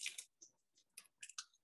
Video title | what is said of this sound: Turkey Au Vin, Creative Thanksgiving Recipe | a really nice deep crust